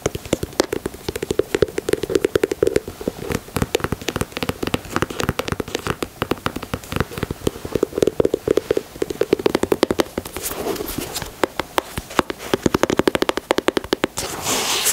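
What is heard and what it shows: Fingernails tap and scratch the speckled heel midsole and the leather near the logo of a white leather Air Jordan 4 sneaker. Rapid, dense clicking taps run throughout over a steady mid-pitched ring, broken by brief brighter scratching passages near the middle and at the end.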